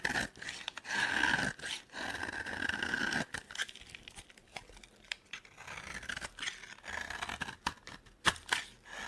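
A solid, dry orange soap bar held in the hand is scraped and cut with a metal box-cutter blade into fine shavings. Longer crisp, scratchy scraping strokes with a bright edge and a faint squeal around 1.7 kHz alternate with quick, sharp snipping cuts. Each cut ends with no ring.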